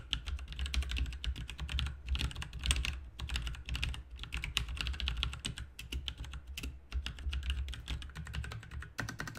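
Both hands type with the fingertips on a full-size, backlit plastic mechanical RGB computer keyboard with plastic keycaps resting on a desk. Continuous rapid key presses make dense, bright, short clacks with brief pauses, over a steady low hum.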